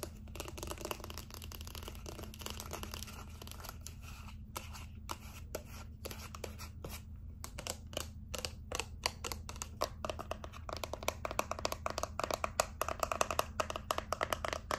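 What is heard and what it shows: Long acrylic nails tap and scratch a small dark gray-black cylindrical plastic cosmetic bottle with its cap on, probably not empty. Rapid, dry clicks and scratchy rustles with almost no ring sit over a steady low hum, growing louder and denser in the second half.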